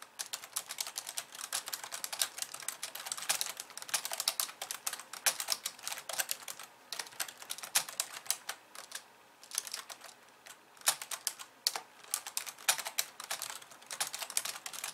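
Both hands type rapidly on a pink plastic computer keyboard with white keys, tapping with long nails and fingertips. The result is a dense, steady stream of bright, crisp clicks and taps with very short decay and almost no low end.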